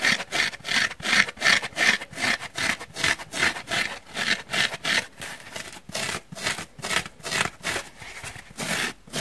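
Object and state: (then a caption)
Dry foam sponge scratched. Short painted nails scratch back and forth across the pitted surface of a solid, dry, pink porous foam sponge block held in the hands. Each stroke is a dry, bright rasp, repeating at nearly three per second in an uneven rhythm. The sound is mostly high-pitched with almost no low end and no ringing after each stroke.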